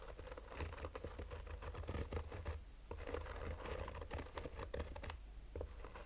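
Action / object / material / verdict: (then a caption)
scrape / fabric-covered hard-shell sunglasses case / fabric / none. Fingernails of both hands slowly scratch the top of a black mesh-fabric hard-shell sunglasses case resting on a table. The result is a steady stream of short, dry scratching strokes over a low, soft hum, with quick crackly bursts reaching up into the highs.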